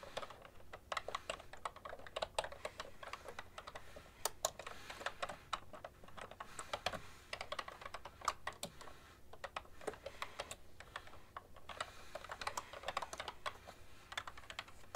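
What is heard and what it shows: Fingertips with long nails type steadily on a beige-and-white plastic ergonomic computer keyboard with a hollow plastic body. A continuous stream of quick, light, clicky taps with sharp, dry attacks that stop almost instantly. A faint steady hum sits underneath.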